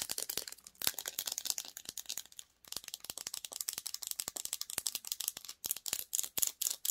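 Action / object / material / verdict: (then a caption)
tap / small plastic jar with screw lid / plastic / none. A small clear plastic jar with a clear screw lid, filled with red "Honey Peach" slime, is held in the hands while long acrylic nails tap and scratch its sides and lid. Quick, bright clicks and scrapes come in dense, irregular bursts with almost no low end, each tap dying out almost at once. A few short pauses break up the rapid tapping.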